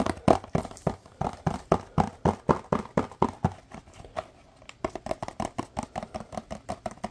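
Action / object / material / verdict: tap / small cardboard box / cardboard / none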